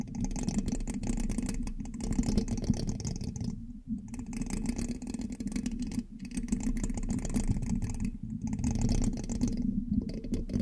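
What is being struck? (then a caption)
Metal mesh microphone grille scratched with a metal pin. A thin metal pin held in the fingertips scratches and taps the hollow black metal mesh grille of a large USB microphone. The result is a dense, close, gritty scraping and tapping with a strong low, buzzy body, broken by brief quieter gaps.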